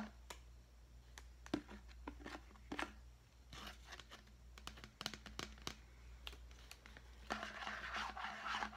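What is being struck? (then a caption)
Clear plastic deli container. A large, clear, hollow and empty plastic deli container is held in the hand and tapped and scratched with the fingernails. Quick, irregular clicks and taps mix with bright, rasping scratch bursts, with the longest scratching near the end, over a faint steady low hum. The sharp taps die away almost instantly.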